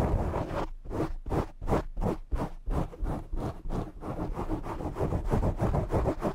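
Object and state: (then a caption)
Foam microphone windscreen being scratched. Fingertips and short nails scratch and rub the sides of a black foam windscreen on a desk microphone. The result is a quick, rhythmic run of muffled, boomy scratching bursts, about three per second, with heavy low-end thump and a dull rustle. The bursts start out clearly separated and then blur into a denser, steadier scrubbing toward the end.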